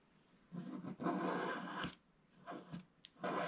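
A wooden stick scratches the coating near the bottom edge of a flat black wax-coated scratch art card held in one hand. Several raspy, papery scraping strokes of uneven length start and stop, with a brief sharp tick between the last two.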